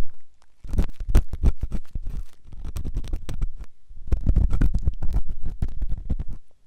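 A flat stainless steel ear pick, held by the fingertips, scrapes a white silicone ear-shaped microphone. The result is a dense run of close, muffled, low scratching strokes with a deep rumbling thud under them. A brief quiet gap falls near the middle before the strokes pick up again.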